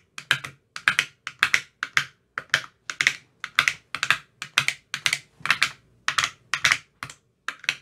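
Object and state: Plastic ice cube tray.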